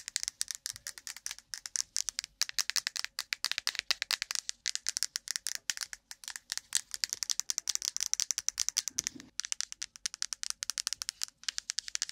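A plastic cotton swab case is tapped quickly and continuously, making a dense, bright rattling clatter of short, sharp clicks with almost no low end.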